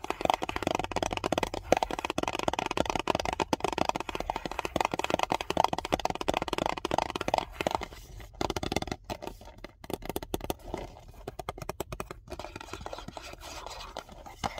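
A tall Island Bakery cardboard biscuit box, closed with biscuits inside, is held upright and tapped and scratched with fingernails and fingertips. Rapid, dry, hollow-sounding taps and scratchy rustles crowd the first half, with a midrange resonance. They then thin out into sparser, quieter clicks and soft scratching.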